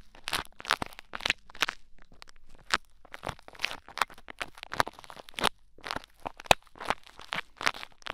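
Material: Play foam.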